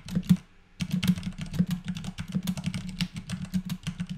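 Fingertips of both hands type continuously on a compact white Vortex Pok3r mechanical keyboard with Cherry MX Clear switches and plastic keycaps, resting on a desk. Rapid, uneven key clacks with a low, thocky body and crisp bright tops follow a brief pause near the start, then run steadily to the end.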